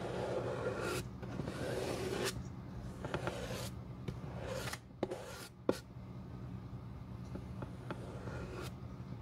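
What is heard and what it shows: A glue brush spreads glue over the toe area of the solid leather outsole of a Boss dress shoe held in the hand, giving a soft, continuous rubbing and scraping sound. Bright streaky brush strokes sweep over a steady low hum, with a couple of sharper taps partway through.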